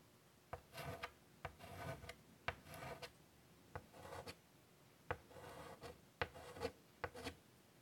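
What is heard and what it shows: White chalk held in the fingertips draws on a large wooden-framed chalkboard lying flat. Quiet, sharp taps are each followed by short, dry, scratchy strokes with a faint tone around 480 Hz. The taps die away almost instantly, leaving brief pauses between them.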